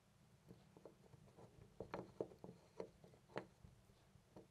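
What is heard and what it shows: A loose brass-finish metal door knob on a white panel door is held by the fingertips and jiggled back and forth. It makes a string of soft, short metallic clicks and rattles, with a few sharper knocks near the middle. Each tick stops almost at once over a faint steady background.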